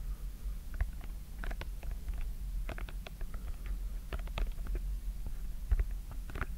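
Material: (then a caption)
Silicone. Fingertips press and pop the colored hollow silicone domes of a simple dimple fidget toy with a white plastic frame, held in both hands. Quick, soft popping clicks come in an uneven stream over a steady low, muffled rumble. Each pop is brief and dry, with a faint bright tick on top.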